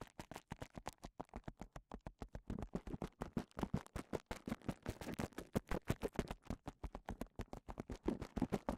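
Fingertips scratch the bubbles of a clear plastic bubble wrap cone held in one hand, producing 54 rapid, dry, short scratching strokes. The sound is quiet, with most of its energy in the low range and little high-end brightness, and each stroke dies away almost instantly.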